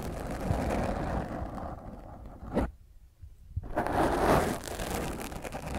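Long nails scratch the top of a black foam microphone windscreen while the other hand holds it, making a dense, rough, low-heavy scraping rustle. A sharp scrape near the middle gives way to a brief near-silent pause, then the scratching resumes more loudly.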